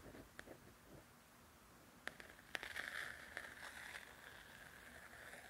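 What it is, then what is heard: Paperback coloring book cover scratched with nails. Long nails scratch the glossy paper cover of a softcover coloring book. Faint scratching opens, then sharp ticks and a brighter, rasping scrape build up midway, with a steady scratchy tone around 2 kHz before it settles back to a quiet rustle.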